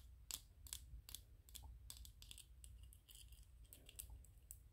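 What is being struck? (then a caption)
Small 3D-printed PLA plastic toy. Fingernails tap and scratch a small white 3D-printed PLA plastic ghost toy held in the hands. Sharp, bright clicks land in an uneven rhythm, with short scratchy rubs between them. A steady low hum runs quietly underneath.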